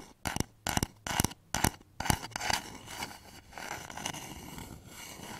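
Fingertips and nails tap on the side of a hollow, polished wooden bowl turned upside down over microphones. Quick clusters of dry, hollow knocks with almost no ring come first, then give way to a steadier, softer scratchy texture with bright edges.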